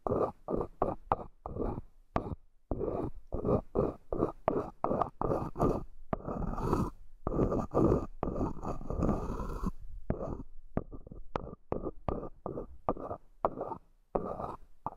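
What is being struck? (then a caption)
Small wooden hexagonal box. Long nails tap and scratch along the wooden side edges of a small, hollow, light-wood hexagonal accessory box, held in the hands with its two tiers stacked. A rapid run of dry, hollow taps mixes with longer rasping scratches, mostly in the low-mid range, with a few sharp brighter clicks. Each tap dies away almost instantly, with no ring.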